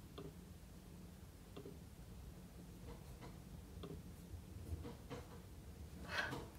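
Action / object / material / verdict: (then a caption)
tap / laptop keyboard with plastic keys and aluminium body / plastic / none. Fingertips tap and type on the plastic keys of a silver aluminium laptop with a solid thin body, resting on a marble table. Sparse, quiet clicks come at uneven intervals over a low steady hum, with a brighter, louder cluster of taps near the end.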